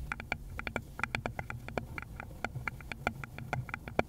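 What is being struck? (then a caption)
Small wooden bowl. Long pointed nails on a gloved hand tap and lightly scratch a small rounded wooden bowl, likely hollow, in a quick irregular stream of about 26 short, dry clicks. Each click is brief, with a woody mid tone near 700 Hz and bright, crisp tips, over a faint low rumble and soft scratching between the taps.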